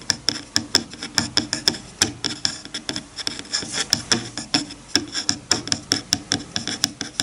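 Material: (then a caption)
Bamboo. Fingertips rub and scratch across the teeth of a wide-toothed bamboo hair comb resting on a bamboo cutting board. The result is a steady, rapid series of dry, bright clicks and raspy scrapes with a high tone, each one very short with almost no ring.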